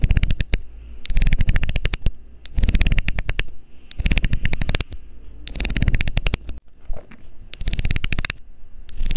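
A loose, hollow blue plastic screw cap is held over the mic while a metal needle scrapes along its ridged edge. Bursts of rapid, bright clicking ticks come in repeated runs separated by short pauses, over a deep, muffled low rumble.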